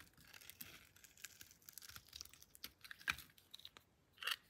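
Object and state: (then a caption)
Bar soap being cut. A solid pink Camay bar of soap, palm-sized and held in one hand, is scored and sliced into thin strips with a metal blade. The cuts come as an irregular series of crisp, dry scraping and crunching sounds, bright and high with almost no low end. A sharp slice rings out near the middle, and the loudest gritty cut comes at the end.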